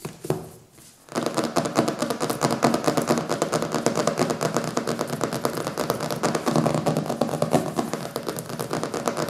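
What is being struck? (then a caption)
Hardcover book with glossy paper cover. Fingertips tap and scratch the glossy printed paper cover of a thick, solid hardcover book resting on a wooden table, first on the front cover and then on the back after the book is turned over. A few light taps and a brief quiet pause give way, after about a second, to a steady stream of quick, dry tapping and scratching with a bright, papery texture.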